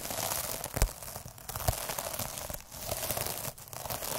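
Fingers roll a black derma roller with metal needles across the surface of a sparkly, iridescent plastic mesh scrub pad. The result is a steady, bright, crinkly crackle and scratchy rustle, with a couple of sharper, louder clicks near the start and brief quieter dips as the rolling pauses.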